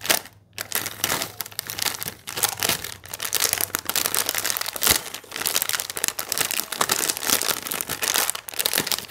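A small sealed, full plastic/foil Hide & Seek Fills biscuit wrapper is held in both hands while fingertips squeeze, crinkle and turn it over. The result is a continuous run of bright, crackly crinkling with many short overlapping snaps and almost no low end.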